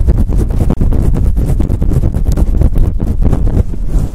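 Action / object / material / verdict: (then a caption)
scrape / faux fur microphone windscreen / faux fur / none. Long acrylic nails rub and scratch fast and hard across a fluffy faux fur windscreen on a microphone. The result is a loud, continuous, deep rumbling scrape made of rapid overlapping strokes, almost all low in pitch with very little brightness.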